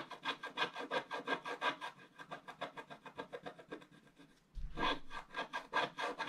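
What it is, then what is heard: Scratch-art paper sheet being scratched. A wooden stylus scratches the black wax coating along the bottom edge of a scratch-art paper sheet lying on a table, while one hand holds the sheet in place. Rapid back-and-forth strokes make a dry, bright, rasping scrape, about three per second. The strokes soften and fade near the middle, then return louder with a low bump as scratching resumes.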